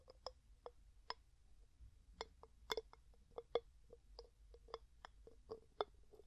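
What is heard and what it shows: Fingers lift, set down, twist and tap the gold metal screw lid on a medium, clear glass jar that is hollow and mostly empty. A quiet series of short, sharp clicks and ticks sounds with a brief glassy ring around 420 Hz and bright edges, each dying away almost at once over a soft background hush.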